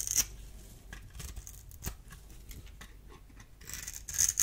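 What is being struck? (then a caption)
Bar of soap. A solid oval blue bar of dry soap is held in the hand while a small metal blade scrapes and cuts its surface. The sound is a dry, bright, crackly scraping with short, sharp clicks and little low end, swelling into louder crisp bursts near the start, middle, and end.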